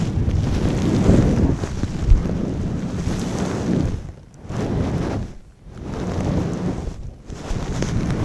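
A long-pile brown faux fur windscreen over a microphone is rubbed and squeezed with fingers and long nails. The result is a dense, muffled, low rumble like wind buffeting, with soft crackling. It briefly dips quiet a few times before swelling back.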